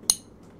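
A single tap on a perfume bottle marks the strong first beat of a 3/4 count, giving a short, bright clink with high ringing tones that fades almost immediately. A faint low background hum remains underneath.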